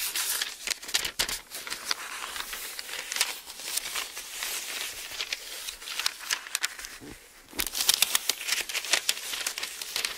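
Fingers grab and turn the thin paper pages of an open Bible, then a flat palm rubs across the page. The sound is a steady run of crisp, bright crinkles and rustles with no low end, quieting briefly near the seven-second mark before a louder burst of page handling.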